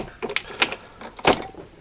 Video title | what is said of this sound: Tikka T3 Super Lite Pt. 2 - Making a Great Rifle Better | I foam filled the stock I wanted to get rid of the the hollow sound it had it still sounds like plastic but it's much quieter than it was